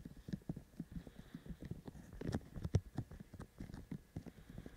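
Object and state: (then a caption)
Binaural microphone with silicone ears. Both hands tap the white silicone ears of a binaural microphone with their fingertips in a quick rhythm. About fifteen short, soft, muffled thuds land close together, deep and low in tone with almost no ring.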